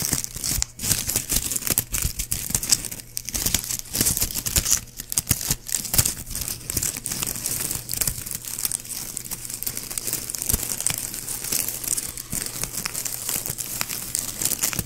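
A small white plastic ribbon gift bow with hollow loops is held in a hand near the mic while fingertips crumple and rub the loops. It makes a steady stream of dense, bright crinkling and crackling for the whole clip, over a faint low hum.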